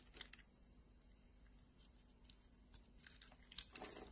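A solid red translucent glycerin soap bar is scored in lines and scraped with a metal blade. Quiet, bright, crisp scratching and crackling bursts come in short clusters near the start and end, over a faint, steady low hum.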